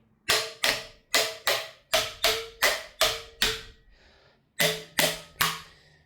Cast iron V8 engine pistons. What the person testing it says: if it sounds hollow, it's free. But if it goes thud,